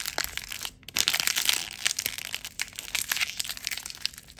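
An empty blue plastic film packaging bag is crushed and crumpled into a ball by both hands close to the microphone. Dense, bright crinkling and sharp crackles fill the clip, with a brief pause just before the one-second mark. Almost no low end comes through.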